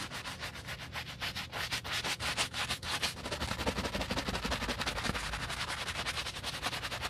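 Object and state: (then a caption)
Leather boot being brush-scrubbed. A hollow black leather UGG men's boot, held in a gloved hand, has its heel and back scrubbed fast with a wooden bristle brush and soap foam. The strokes come as a rapid, uneven stream of bright, wet, rasping brushing sounds over a low dull thud.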